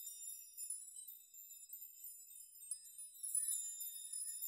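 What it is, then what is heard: Metal nail chime. Open palms push the strands of a hanging metal nail chime so the metal nails clink against one another. The result is a quiet, continuous wash of high, bright tinkling and shimmering metallic ringing, with no low end and a few slightly louder clinks standing out.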